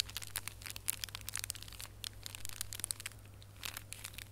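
Fingertips and nails scratch and squeeze a small red holographic foil gift box ornament held in both hands, producing dense, crunchy crinkles of foil. The short, bright crackling bursts come in quick irregular clusters over a steady low hum.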